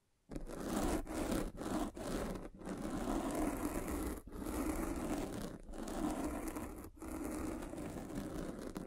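A metal-spiked derma roller is pressed and rolled over a black foam windscreen on a microphone, producing a dense, muffled scratching rustle. The sound comes in sustained strokes separated by brief dips, with its energy concentrated in the low and middle range and little brightness.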